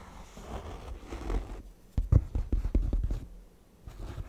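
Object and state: Faux leather chair back with embroidered patch.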